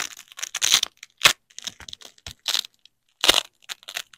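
A large yellow nylon hook strip is peeled and ripped away from a black loop strip by black-gloved fingers. The result is a series of short, bright, crackling tearing bursts separated by brief pauses, with the longer, louder rips standing out near the start and toward the end.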